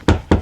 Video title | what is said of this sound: 💡This Should Have Been The BIG DAY🔌 But We Dropped The Ball 🤬#homestead #offgrid #tinyhouse #solar | this sounds hollow. It sound like nothing's behind it.